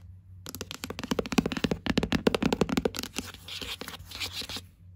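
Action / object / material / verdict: tap / hardcover book with board cover / cardboard / none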